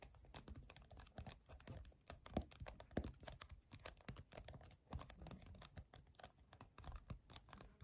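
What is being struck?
Small plastic bottle.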